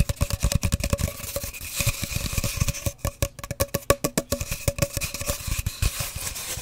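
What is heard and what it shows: Long dark nails and fingertips tap rapidly on an empty, hollow cardboard paper towel roll, held horizontally and then upright. About thirty short, dry taps land in quick bursts, each with a hollow resonance around 560 Hz. Softer scratchy stretches run between the louder taps.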